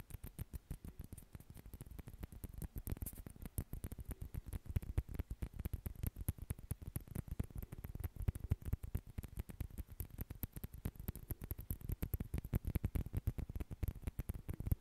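Two small hollow white celluloid or plastic ping pong balls, one held in each hand close to the mic, are tapped with fingertips and nails and clicked together. The result is a quiet, steady stream of rapid, dry clicks and soft taps with a low, thumpy body and almost no ring after each hit.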